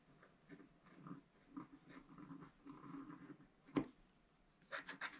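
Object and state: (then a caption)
Scratch-art paper sheet. A wooden stylus scratches at the bottom edge of a black-coated scratch-art card lying flat on a table. Soft, low scratching strokes come in short separate bursts, with a sharp louder tick partway through. The clip ends in brighter, rasping scrapes.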